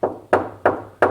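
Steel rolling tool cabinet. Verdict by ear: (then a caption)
Solid. Four knocks on a new U.S. General steel rolling tool cabinet from Harbor Freight produce dull, solid thuds that fade quickly without rattling, sounding like knocking on wood or a workbench. They show the cabinet's sturdy construction.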